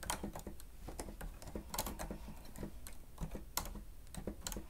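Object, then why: Plastic stenotype machine keys. Keys on a grey plastic stenotype machine with a screen are pressed rapidly with the fingertips and nails of both hands. The result is a quick, irregular run of short, dry clicks and taps, each with a soft low thump beneath a bright click that dies away almost at once.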